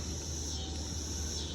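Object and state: Nothing is struck.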